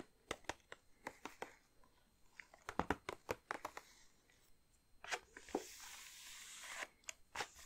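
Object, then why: Plastic-film bag of wrapped chocolates. A large red plastic-film bag of Lindor milk chocolate truffles, full of individually wrapped truffles, is tapped and crinkled with long dark-painted nails and fingertips. A series of sharp, crisp plastic taps and clicks is followed by a longer, bright crinkling rustle, then a few final taps.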